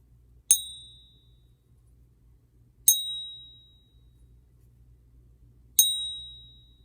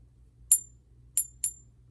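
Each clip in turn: First: Three high, bright pings near 3.8 kHz, each ringing clearly before fading: a genuine silver coin. Second: Three bright, high clicks that stop almost at once; no lasting ping, so the coin is not real silver.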